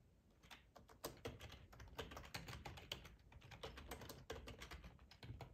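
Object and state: Plastic computer keyboard being typed on.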